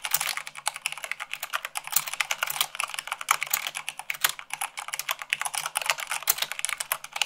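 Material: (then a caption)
Plastic. Rapid typing with fingertips and long nails on a white plastic mechanical keyboard. A dense, steady stream of sharp, bright clicks and clacks, each key strike short and dry with almost no low end.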